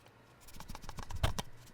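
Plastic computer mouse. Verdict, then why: Rattly. An ATK X1 V1 plastic gaming mouse is shaken, producing a quick series of about nine short, dry rattling clicks from its shell. It sounds hollow and makes more noise when shaken than the V2 version.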